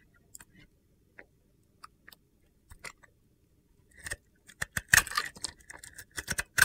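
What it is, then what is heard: Bar of soap being carved. A metal box-cutter blade carves chunks from the white inside of a palm-sized, solid pink glitter bar of soap. Sparse, dry scraping clicks with a crisp tone near 1.8 kHz come first, then they grow louder and denser into crunchy, gritty cutting bursts with bright, high edges.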